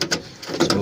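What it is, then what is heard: Loose car window glass guide. A loose metal window glass guide inside an opened car door is shaken by hand and gives a quick series of short, dry metallic rattles with bright clatter on top. The guide is missing one bolt and was never tightened, so it has come loose and is the source of the rattling noise.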